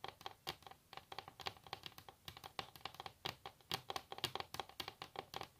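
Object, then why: Wooden table top. Long natural nails tap and scratch across a solid wooden table top in a quick, uneven series of about 33 crisp clicks. The sound is bright and dry, with each tap dying away almost at once and soft scratching between them.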